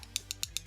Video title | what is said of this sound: The Only Acrylic Ombre Nail Tutorial You Need | we've got a high pitched tone you know it's set and it's hard and it's ready to file